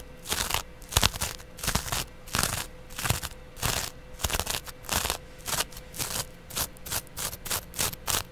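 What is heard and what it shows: A flat, soft, porous yellow cellulose sponge is held up and scratched along its face with a small double-edge razor blade held in the fingertips. A series of short, dry, bright scratching bursts come in an uneven rhythm of about one to two per second. A faint steady tone sits underneath throughout.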